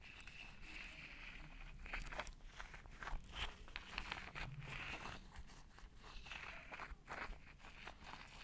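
A hand-sized pink plastic massage roller with rows of chrome metal roller balls is held in one hand beside the microphone while long red-painted nails and fingertips tap and scratch across its plastic body and metal balls. Quiet, dry clicks and scratchy rustles come in irregular bursts over a low rumble, with brief bright ticks from the nails on the balls.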